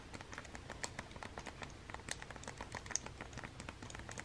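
Long-nailed fingertips press and tap the buttons of a hollow plastic Nintendo Switch game console fitted with a red Joy-Con. The result is a quiet, rapid patter of short, dry plastic clicks and taps with a bright edge and no ring, with a few slightly sharper clicks standing out.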